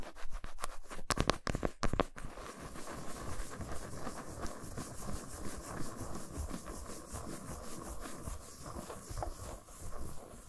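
Long pointed acrylic nails tap and scratch the smooth back of a flat, solid milk chocolate bar lying face-down on a towel. A quick run of sharp, clicky taps in the first two seconds gives way to steady, fast scratching and rubbing, with a dull, low-heavy body and a faint ringing tone around 1.1 kHz.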